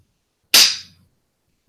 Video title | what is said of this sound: SasHyp Townhall #2 | It sounds more like maybe rocks or something to me.